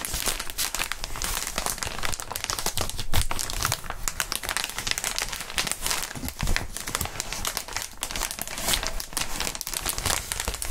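Gloved fingertips squeeze and crinkle a large, clear, inflated plastic air-column cushion wrap with hollow tubes. The result is a steady stream of dense, bright crinkling and crackling, with soft low thumps and a few louder squeezes along the way.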